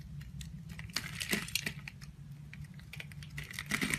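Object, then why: Bar of soap. A box cutter blade carves and scrapes chunks and flakes off a partly carved solid yellow bar of soap held in the hand. Quick, dry, bright crackles and clicky scrapes come in short bursts over a soft low rumble, each dying away almost instantly.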